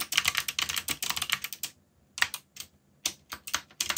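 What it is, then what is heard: Plastic mechanical keyboard. Fingertips type on and rest against the plastic keycaps of a backlit mechanical keyboard, producing quick, bright clacking keystrokes with almost no low end. Dense runs of taps fill the first second and a half, then give way to short, scattered bursts separated by brief silences.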